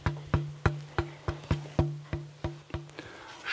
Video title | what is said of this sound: Wie man eine Geige baut - SWR Handwerkskunst | sound also gets darker and darker the more mass I take away. At the beginning a lot of mass, high, bright tone. As I elaborate, the tone gets darker.